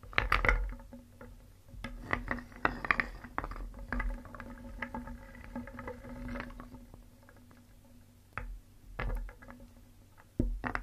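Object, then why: Painted wooden toy pieces in a wooden bowl. A wooden spoon stirs and scoops small, solid, painted wooden toy pieces in a wooden bowl, knocking them together. Dense clusters of short, hollow clacks and bright clicks spill out in busy bursts. The clatter eases into softer shuffling before a few sharper knocks return near the end.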